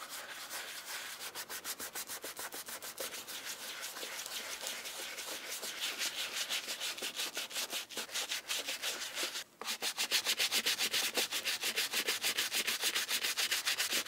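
A wooden-handled bristle brush scrubs white cleaning foam into the brown leather upper of a hollow Aurora Shoe & Co. Middle English leather shoe. Quick, even back-and-forth strokes make a bright, bristly hiss with almost no low end, at about three strokes per second. After a brief pause near the middle, the scrubbing resumes slightly louder.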